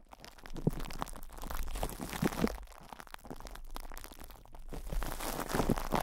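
Fingertips of both hands rub and scratch plastic cling film wrapped over a microphone's hollow metal mesh grille. The result is a continuous, close crinkling and scratching texture with soft low thumps and bursts of bright crackle.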